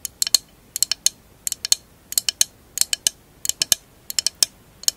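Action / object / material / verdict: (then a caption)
tap / glass mosaic candle holder tapped with fingernails / glass / none. A tall, hollow, empty candle holder covered in glass mosaic tiles is held sideways and scratched and tapped with long acrylic nails. About two dozen sharp, bright clicks come in quick clusters of three or four, each dying away almost at once. The result is a crisp, high, dry clicking with no low end.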